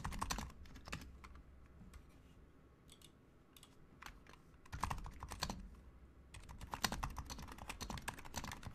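Fingertips type steadily with both hands on a Razer Huntsman Mini, a compact 60% mechanical keyboard with a white plastic case, white plastic keycaps, lubed silent switches and pink backlight. Soft, muted clacks with a low thump come in dense bursts at the start, around the middle and through the final seconds, with lighter, sparser taps in between. Each keystroke is short and dry, dying away almost instantly.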